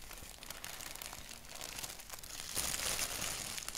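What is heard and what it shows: Fingertips and nails scratch and tap a thin white paper sheet printed with a black doodle, and an index finger taps single spots on it. The result is a bright, crinkly rustle of quick, uneven scratches and light taps, growing louder and denser toward the end.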